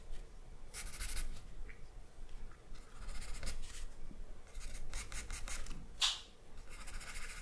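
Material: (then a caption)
Paper. An orange wooden pencil with a dark core makes short scratching strokes on a flat sheet of drawing paper resting on a wooden table. Bursts of bright, dry scratching rise and fall over a steady low rumble, with a sharper scrape standing out near the end.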